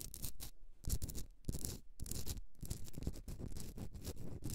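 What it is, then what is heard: Rock-salt candle holder scratched with nails. Long nails scratch the rough surface of a hollowed, pink rock-salt Himalayan salt candle holder as it is held and turned. The result is a run of dry, gritty scraping bursts with bright hiss over a heavy low rumble, coming in an uneven rhythm with short gaps between strokes.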